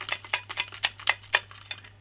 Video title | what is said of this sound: AI and Society: 14b. Philosophy of mind: dualism | shake it you hear a sound you hear something in there